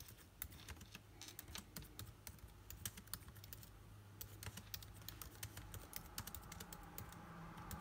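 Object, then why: Plastic laptop keyboard keys. Rapid fingertip typing on a backlit MacBook Air keyboard with plastic keys set in an aluminum body, with rings on the typing fingers. Quick, dry, bright clicks tumble over one another and die away almost at once. A steady low hum runs underneath.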